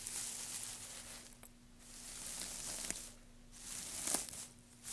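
Fingertips of both hands dig into and rustle through a loose pile of thin, light-coloured wood shavings resting on a black surface. Bright, crisp crinkling rises and falls in waves, with three sharp ticks standing out from the rustle. A faint steady low hum runs underneath throughout.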